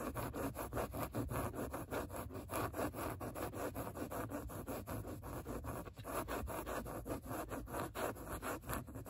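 Long nails scratch back and forth across a padded grey microsuede seat, leaving marks visible in the nap. Each stroke makes a soft, brushy rasp, and the strokes repeat steadily and quickly throughout in a dense, even rhythm.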